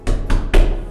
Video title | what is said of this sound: Rénovation de mon appartement 2/5 : on arrache tout 💥 | ça s'entend alors c'est ça sonne creux